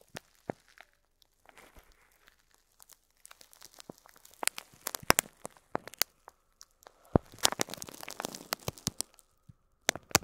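Fingertips squeeze and crinkle an upright clear plastic bag of loose faux plastic pearl beads, making the beads shift inside. Soft, bright crinkling comes in bursts of sharp clicks and rustles with short quiet gaps between them. The sounds are dry and stop almost instantly.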